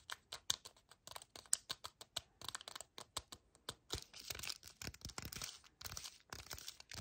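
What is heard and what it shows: Painted nails tap and scratch a small, full yellow cardboard chocolate bar box held upright and sideways while the hands grip it. Quick, dry, bright clicks come first, then denser crinkly scratching and gripping sounds. The sound is thin and high, with no ring after each touch.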